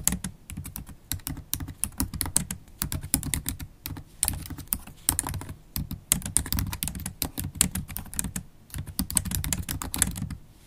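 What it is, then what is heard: Laptop keyboard being typed on. Continuous typing on a MacBook Pro keyboard with black plastic keys set in an aluminium body, done with long black holographic acrylic stiletto nails whose tips click against the keys. Rapid, uneven bursts of short, dry taps with a soft low thump beneath bright, crisp clicks and almost no ring, pausing briefly between flurries.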